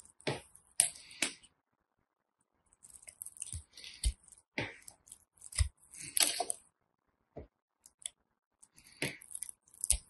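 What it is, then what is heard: Bar of soap being scraped and cut. A small metal blade scrapes and cuts into the pre-scored grid of a solid teal soap bar held in hand, chipping off small cubes. Short, crisp bursts of bright scraping and crunching come in quick clusters, some with a soft low thud, separated by brief silences.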